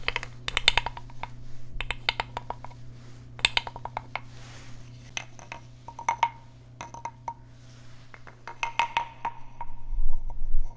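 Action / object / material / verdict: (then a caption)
scrape / small carved wooden frog rasp played with a wooden stick / wood / none. A small, hollow, carved wooden frog guiro is held in one hand and struck and scraped along its ridged back with a wooden stick. Short, hollow, woody taps and brief rasping scrapes come in irregular bursts, with a bright clicky edge. A steady low hum runs underneath throughout.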